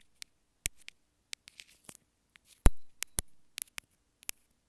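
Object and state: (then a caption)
Plastic earphone inline remote. Long nails scratch and tap along the sides of a small white plastic earphone inline remote. About 14 sharp, dry clicks land at irregular intervals, with faint brief scrapes between them. The loudest tap, near the middle, is followed by a short swelling rustle.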